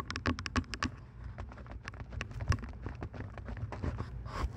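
Long nails tap the earcups of purple plastic over-ear headphones resting on a microphone. The result is a series of quick, dry clicks and taps over a low, steady rumble. The clicks are denser and brighter at the start, and the rhythm is uneven.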